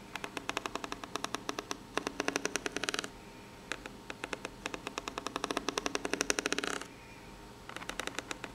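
Long pink natural nails make fast scratching and tapping strokes across the ribs of a corrugated cardboard box, which is probably empty and hollow. Dozens of crisp, bright ticks come in quick bursts, with dense, raspy stretches of rapid scratching separated by short quiet pauses. Each tap dies away almost instantly, with a light papery rattle and little low end.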